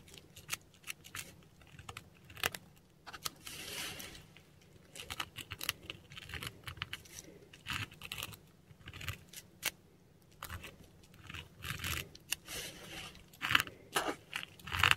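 A metal dip pen nib scratches across a textured Korean paper sheet while writing script in ink. Short, bright, dry scratching strokes come in irregular bursts separated by brief quiet pauses, each stroke stopping cleanly with no ring.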